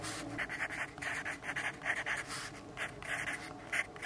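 A yellow graphite pencil writes continuously on a lined paper notepad resting on a wooden desk. It makes a quiet, dry scratching of quick, bright strokes, with short bursts of hiss centred near 2 kHz that rise and fall as the pencil moves. There is almost no low end.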